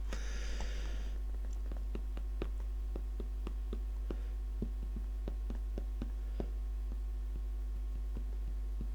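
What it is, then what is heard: Glass sauce bottle. A tall, thin glass bottle of HP brown sauce is tapped repeatedly, giving a series of soft, quick ticks with a faint pitched ring. The taps sit over a steady low hum, with a brief hiss of rustling at the start.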